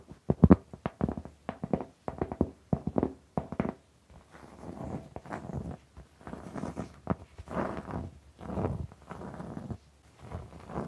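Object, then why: Round cork board. A large, flat, solid round cork board, held by its edges, is tapped and scratched with long pink nails. Quick, dull taps come first for about four seconds, then give way to longer rasping scratches in separate bursts across the cork surface.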